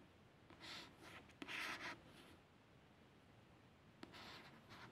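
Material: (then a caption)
Card. A fingertip and a long nail trace over the printed images and barcode label on the solid, glossy card back cover of a paperback book. Soft, bright scratching strokes come in short bursts between near-silent pauses, with two small sharp ticks where the nail catches the surface.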